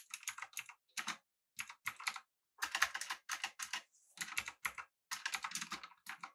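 Both hands type with their fingertips on a full-size, backlit, typewriter-style mechanical keyboard with an aluminum body and round plastic keycaps. Quick bursts of bright, crisp keystroke clicks come in short clusters separated by brief pauses. Each click is sharp and dies away almost instantly.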